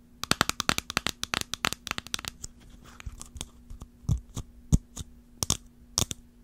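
Long fingernails tap the curved dome of a small, round, hollow clear jar with a swirled blue-green pattern and a clear ridged lid, plastic or glass, as it is turned from sideways to upright. About 30 short, bright clicking taps come fast and dense for the first two seconds, then slow to sparser, heavier knocks with a dull low thump. Each tap dies away almost instantly over a faint steady hum.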